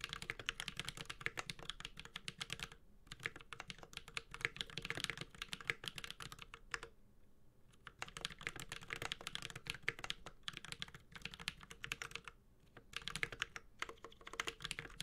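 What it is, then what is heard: Mechanical keyboard, typing. Fast typing on a Space65 Cybervoyager 65% mechanical keyboard resting on a desk, with a white and gold aluminum case, carbon fiber plate, GMK plastic keycaps and lubed Holy Panda switches, tapped continuously with the fingertips of both hands. Bright, crisp key clacks with very short decay come in dense bursts, broken by brief pauses near 3, 7–8 and 12.5 seconds.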